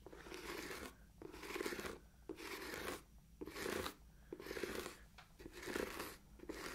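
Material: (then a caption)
Leather. Long nails rub and scratch the leather surface of a hollow, empty black leather ankle boot. Quiet, raspy scratching strokes come in rhythmic bursts about once a second, with short pauses between them. The sound is a dry, crinkly texture centered in the low-mid range, with some bright edge.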